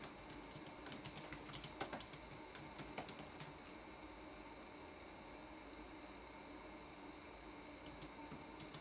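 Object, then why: Plastic laptop keyboard. Fingertips tap the plastic keys of a red-backlit laptop keyboard in a typing action, giving quick, bright clicks over a faint steady hiss. The typing comes in a busy burst for the first few seconds, goes quiet, then returns with a few more taps near the end.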